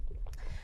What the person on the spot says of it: it's very liquidy you hear a lot of sloshing sounds